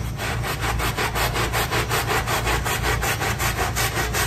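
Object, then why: Small synthetic-fiber carpet on a tile floor, scrubbed with a stiff brush. A gloved hand scrubs a small, square, soapy, wet synthetic-fiber carpet resting on a tile floor, moving a handheld scrub brush back and forth. Steady, rhythmic bristly rasping strokes come at a brisk pace, about three per second, with bright swishing texture over a low, wet rumble.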